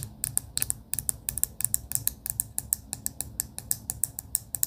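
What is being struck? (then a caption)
Clear plastic pen barrel with beads inside. Long pink acrylic nails tap quickly on a clear plastic pen barrel with pastel beads inside. The result is a rapid series of sharp, bright, dry clicks that die away almost instantly, over a faint low hum.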